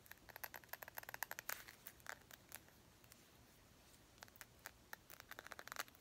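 Long pink nails tap and scratch a round, clear glass perfume bottle with a gold cap, partly filled. Quick, bright clicking taps with a faint glassy ring near 1.7 kHz come in two bursts, separated by a quiet stretch of soft scratching, and each tap stops almost instantly.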